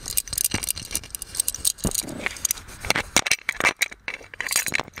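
A gold metal genie lamp is held in one hand while a fingernail of the other hand scratches and taps its ornate body. The result is a dense run of bright, clicky metallic taps and scrapes with very short ring and little low end.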